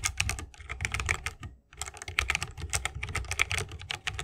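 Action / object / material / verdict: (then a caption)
tap / mechanical keyboard with plastic keycaps in a wooden case / plastic, wood / none. Fingertips of both hands type continuously on a 60% mechanical keyboard with plastic keycaps and Holy Panda tactile switches, set in a bamboo wooden case. Rapid, crisp clacks come with a bright click and a low thock from the case. Typing briefly stops for a short pause in the middle before resuming.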